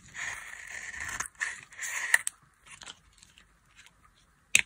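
A solid oval bar of dry blue soap, held in hand, is cut and scraped with a metal knife. Bright, dry scraping and crunching bursts shave flakes off the bar. Sharp clicks of the blade punctuate quieter pauses, ending in a loud final snap.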